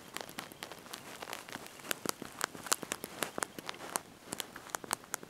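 Thumbs and fingertips press and tap the small backlit plastic keys of a handheld slide-out mobile phone's QWERTY keyboard while typing a message. The result is a quiet, irregular run of short, dry, bright clicks with no ring, some taps louder and sharper than others.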